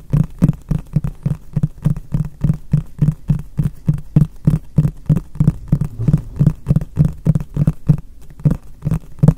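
A medium white frosted translucent plastic storage box, hollow and apparently empty, is held upright in both hands and tapped on its flat face with fingertips and short nails. About 39 quick, somewhat uneven taps produce low, hollow, muffled thuds around 170 Hz that die away almost instantly, with a brief pause near the end.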